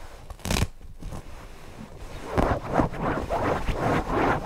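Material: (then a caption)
Cotton fabric. Fingertips scratch and rub the floral fabric of a stuffed cotton owl cushion, first on its back and then on its front side. A short, bright scratch is followed by quiet rustling, then a run of steady, rhythmic scratching strokes with a soft, papery midrange texture.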